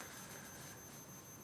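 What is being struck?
Nothing is struck.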